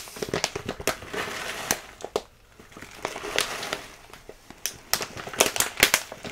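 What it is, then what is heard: Full plastic bag of rolled oats. A full plastic bag of rolled oats is held in both hands and squeezed and crinkled, giving crisp, bright crackling bursts of plastic with almost no low end. The sharp crackles come in clusters, separated by brief quieter lulls, and grow denser and louder toward the end.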